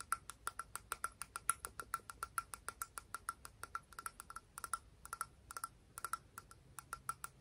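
A small, hollow, orange-brown patterned cone shell held in both hands is tapped and scratched with long pink fingernails. About 43 quick, dry clicks come at an uneven pace, each with a short, bright tone near 1.4 kHz that fades almost instantly. Faint scratchy texture sits between the taps.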